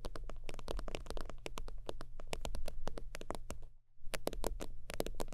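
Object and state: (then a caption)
Faux-leather zip wallet. Fingertips and long nails rapidly tap and scratch the padded top of an iridescent, holographic synthetic-leather zip wallet resting on a fur blanket. The short, crisp taps come in a steady stream over a constant low hum, with a brief pause near the four-second mark before the tapping resumes.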